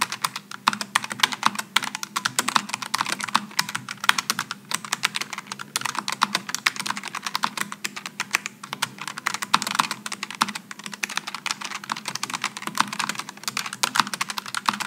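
A solid Logitech G915 full-size low-profile mechanical keyboard with GL low-profile switches, an aluminum top plate and plastic keycaps, sitting on a wooden desk, is typed on continuously with the fingertips of both hands. Rapid, crisp key-switch clicks with a bright edge follow one another densely for the whole clip, each dying away almost instantly, over a faint steady low hum.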